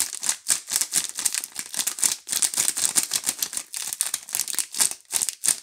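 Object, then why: Soap bars wrapped in thin plastic film. A blue DURU four-bar soap multipack wrapped in clear plastic film is held in both hands while fingertips and long nails squeeze and rub the film. It gives a steady run of quick, bright crinkles and crackles with almost no low end, each burst dying away at once.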